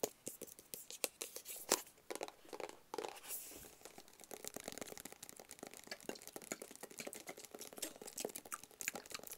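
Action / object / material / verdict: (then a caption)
tap / small closed cardboard box / cardboard / none. A small, closed, hollow black cardboard gift box is tapped and scratched with fingertips and nails. A steady run of quick, dry taps and crinkly scratches sounds light and bright, with little low end and almost no ring after each hit.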